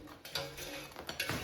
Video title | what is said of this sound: Air Fryer Frozen Old El Paso Stuffed Nachos 🌮 CRISPY in 8 Minutes! Easy Game Day Snack Recipe | Do you hear how crispy?